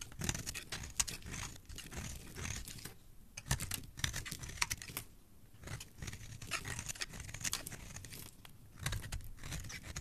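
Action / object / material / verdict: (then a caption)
scrape / bar of soap cut with a metal blade / soap / none. A hand-sized, dry, solid bar of white soap held in one hand is scraped and carved with a metal blade, curling off flakes and shavings. Dense, crisp scraping and crackling strokes run throughout with a bright, papery texture and brief pauses between cuts.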